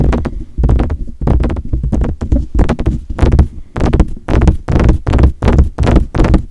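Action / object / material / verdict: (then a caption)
tap / metal condenser microphone body and grille / metal / none. Fingertips tap on the hollow metal body and mesh grille of a silver metal desktop USB condenser microphone. The taps come in quick clustered bursts separated by short pauses, giving a deep, booming thud with dull knocks and brief brighter clicks that die away almost at once.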